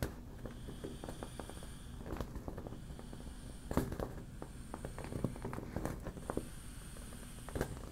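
Long black nails tap and scratch the slack, glossy surface of a hollow, partly deflated yellow smiley-face PVC vinyl beach ball that softens as it deflates. Soft, dull low thuds and scattered quick taps sit over a steady scratchy rustle. A few sharper taps stand out briefly, and each sound dies away quickly.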